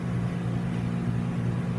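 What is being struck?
Nothing is struck.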